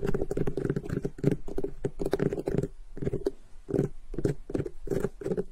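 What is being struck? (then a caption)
Whole cantaloupe melon with netted rind. Both hands with long pink-painted nails tap and scratch the top of a large, solid whole cantaloupe with a rough netted rind, resting on grey fabric. The result is a steady run of quick, dull, low-heavy taps with a faint scratchy edge, each dying away almost instantly.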